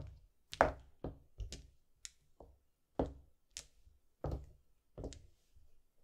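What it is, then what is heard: Plastic mahjong tiles. Small solid white-and-yellow plastic mahjong tiles are picked from a wall with the fingertips and set down on green felt in a row, tapping and knocking against neighbouring tiles. Short, dry clicks and clacks come at an uneven pace, each with a soft thud underneath and a brief bright tick on top, dying away almost at once.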